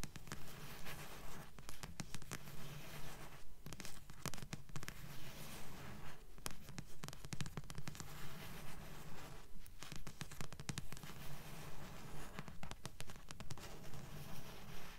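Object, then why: Paperback book with card cover. Long nails tap and scratch the glossy card front cover of a thick blue paperback book, a solid paper block held upright. The quiet, dull taps and scratchy strokes repeat in a steady, even rhythm with a low, muffled body and very short decay.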